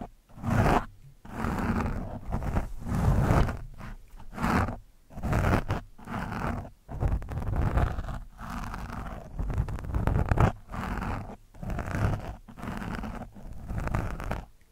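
The thin steel shaft of a screwdriver scratches and pokes a soft, porous orange foam windscreen on a microphone. The result is a series of close, muffled, low-heavy scraping and rustling bursts with brief quiet gaps, with little bright content.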